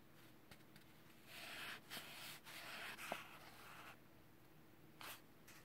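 Gloved fingertips rub the surface of a flat kraft paper packaging envelope holding a rugged phone case for a Samsung Galaxy A3 (2017). Soft, dry papery rustling rises in a few swells of bright hiss over a quiet background, with a faint tap or crinkle here and there.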